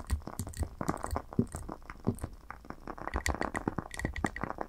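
Long nails tap rapidly around the rim and sides of a lit glass candle jar filled with wax. The taps are short, dry clicks with a low, dull body and brief bright ticks, dying away almost instantly. They come in quick, uneven bursts with soft crinkly texture between them.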